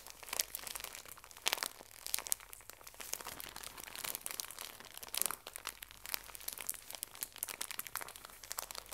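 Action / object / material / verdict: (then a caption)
scrape / pocket tissue pack in thin plastic wrap / thin plastic / none. A full, small pocket tissue pack in thin plastic wrap is squeezed and crinkled by both hands with long nails. It gives a steady stream of dense, bright, crackling crinkles with sharp snaps and almost no low end. Each crackle stops instantly, and the sound stays fairly quiet throughout.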